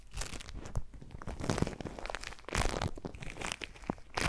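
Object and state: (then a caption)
Foam-bead slime (floam) being squeezed. A small handful of soft, solid pink foam-bead slime (floam), held close, is squeezed, squished and kneaded between the fingertips of both hands. It gives a dense run of crunchy crackles and crinkling pops over soft, low squelches, with louder bursts of crackling near the middle and end.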